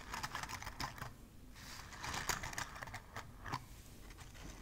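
Long nails tap and scratch a palm-sized Christmas ball covered in burlap jute and decorated with a pinecone, a pine sprig and a red ribbon. Quick, dry taps mix with a soft, rustling scratch that has a bright, papery texture, and each tap stops almost at once without ringing.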